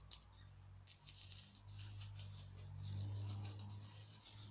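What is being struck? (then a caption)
Small glittery foam craft pumpkin. A small glittery orange foam craft pumpkin, held in one hand, is tapped rapidly with long nails. The result is a quick run of light, bright clicking taps over a steady low hum that swells slightly toward the middle.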